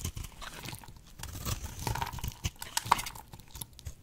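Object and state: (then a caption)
Dry bar soap being cut. A solid, oval, pink bar of dry soap held in the hand is cut into brittle shards with a box-cutter blade. The result is a dense run of crisp crunching and crackling, with sharp snaps rising out of a soft, low rumble and a faint bright edge. The snaps ring briefly near 950 Hz.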